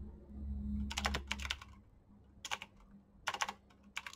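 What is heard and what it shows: Fingertips with painted nails type fast on a black plastic backlit mechanical keyboard with green clicky switches. Bright, sharp key clicks arrive in irregular bursts over a low hum. The keystrokes are short and dry, with no ring.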